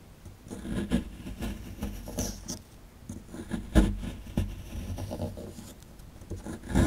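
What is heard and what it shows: A small solid rectangular plaster fossil excavation block is held in the hand while a dark plastic chisel scrapes and rasps at its right edge, crumbling the plaster into powder. Dull, low scratching and grinding strokes come in uneven bursts with faint gritty crumbling, peaking in a few sharper scrapes.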